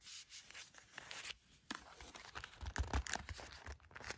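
Long matte black nails tap and scratch the surface of a small, thin, flat gold-printed cardboard sandalwood incense package held in the hand. Dry, papery scratching and rustling strokes mix with soft, quick taps and low thuds. The sound grows louder and busier toward the end.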